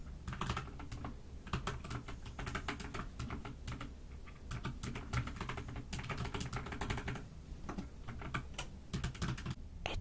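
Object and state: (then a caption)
Mechanical keyboard with plastic keycaps. A pastel, dust silver D84 mechanical keyboard with plastic keycaps sits on a desk and is typed on continuously with both hands, using fingertips and long nails. The result is a steady, dense stream of short, dry clacks with a deep, muffled body and bright ticking tops, and louder bursts rising now and then over the constant patter.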